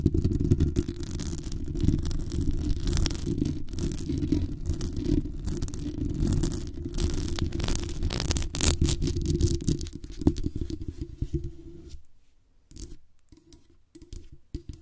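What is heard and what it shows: Long acrylic nails scratch the metal mesh grille of a black condenser microphone, giving a dense, rough scraping with heavy low rumble and bright crackles. Near the end it drops away into a few quieter, sparse taps on the microphone body.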